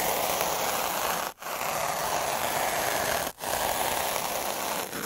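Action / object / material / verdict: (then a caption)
scrape / textured paper rolled with a metal-needle roller / paper / none. A hand rolls a black derma roller with a spiky metal-needle drum across a sheet of textured white watercolor-type paper lying flat. The needles make a steady, dense scraping, zipper-like scratch, bright and hissy with most energy in the mids around 800 Hz. It plays as three continuous passes separated by two brief silent breaks.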